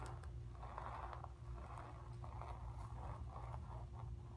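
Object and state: Painted cotton canvas being scratched.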